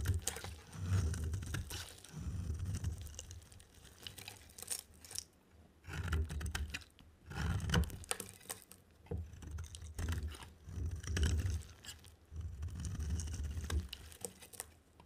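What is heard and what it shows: A utility knife blade scrapes and carves a dry, solid white and yellow bar of soap into white shavings. The sound is a run of dry, crisp scraping bursts in uneven clusters, with a low rumbling body and light bright crackle, separated by short quiet pauses.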